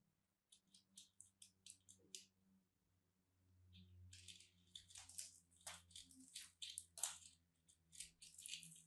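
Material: Soap.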